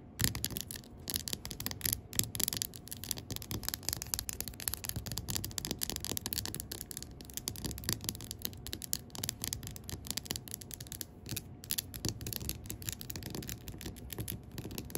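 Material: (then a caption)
Glass. Long pink acrylic nails rapidly tap and scratch the glass side of a large wax-filled glass jar candle standing upside down. The clicks and scrapes are dense, bright and crisp, with short dry decay, running continuously over a faint steady low tone throughout.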